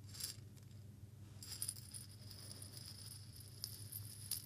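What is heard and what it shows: A small clear glass jar with a metal lid, holding a little loose content of small seeds, is rotated and shaken in both hands near the face. Bright, quick rattles and clinks of seeds against glass come in bursts over a steady low hum, each sound dying away almost at once.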